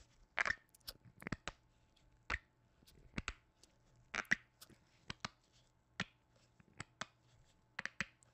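A hollow white plastic lotion bottle with a blue cap and a plant print, held over the mic, is tapped with black-gloved fingertips. It gives quiet, dry, clicky knocks in an irregular rhythm, some in quick clusters, with a bright hollow tone. Each tap dies away almost at once.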